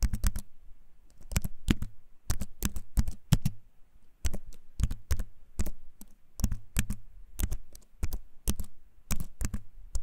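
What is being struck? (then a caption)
Keyboard with wooden frame and plastic keycaps. A compact keyboard with a wooden frame and plastic keys, held up close, is typed on with the fingertips. Bursts of sharp, clicky keycap taps with a deep, short thump under each press are broken by brief pauses. Each click dies away almost instantly.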